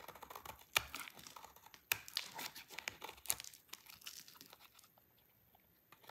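A utility knife blade scrapes thin, crumbly shavings from the corner of a small, solid, dry pink soap bar held in the hand, over a pile of soap flakes. The sound is bright, dry scraping and crackling, with a few sharper snaps standing out. It fades to near silence toward the end before a last short scrape.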